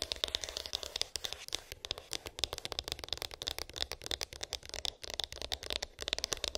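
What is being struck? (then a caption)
Small cardboard phone box. Long pink acrylic nails rapidly tap and scratch a small white cardboard iPhone box with an embossed, textured lid, hollow with unknown contents. Dozens of quick, dry, bright clicks and scritches overlap in a steady patter, each dying away almost instantly with no ring and very little low end.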